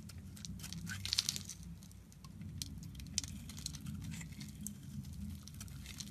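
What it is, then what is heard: Soap bar being carved. A solid rectangular light-blue bar of soap, held in the hand, is shaved and carved with a metal box-cutter blade as flakes break off. The blade makes soft, crisp scraping and crackling ticks with bright high edges, over a steady low hum.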